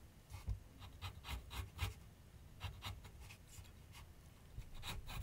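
A graphite pencil scratches continuous sketch strokes across a medium white canvas/paper board on a wooden easel. A series of short, dry scratching strokes is heard, each with a bright rasp over a low, soft thump from the board, with quiet pauses between them.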